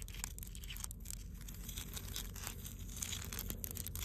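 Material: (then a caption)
Granite. Long blue almond-shaped nails on both hands scratch the rough surface of a large, solid granite boulder by the sea. The result is a steady, dense, crackly rasp with bright scratchy detail over a constant low rumble.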